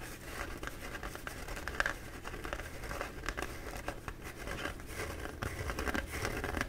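A bee-printed paper towel roll is held in both hands while short, dark-painted nails quickly scratch its embossed surface. The result is a steady run of dry, crinkly scratching and rustling with brief bright flicks over a low background rumble.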